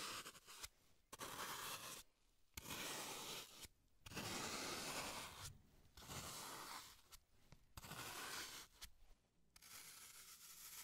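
A solid green floral foam block, held in gloved hands, is scraped and carved with a small tool as it is shaped into a brain. About nine bright, crunchy, tearing scrapes come in irregular bursts separated by short pauses. Little low end sits under the gritty high hiss.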